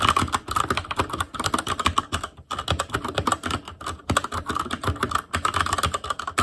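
Fingertips of both hands type rapidly on a full-size ASUS ROG Claymore Core keyboard with plastic keycaps on Cherry MX Red switches over a metal plate, in a hollow case with RGB backlight. The result is a dense, steady stream of short, dry clacks with a tonal ring around 1 kHz and a bright edge, broken by a couple of brief pauses.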